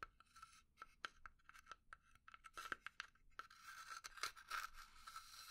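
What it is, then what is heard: Pine wood box. A small hollow pine box held in the hand is scratched and tapped with long nails. Quick, dry taps and scratching strokes with a bright, woody resonance are heard, growing into a denser, steady scratching toward the end.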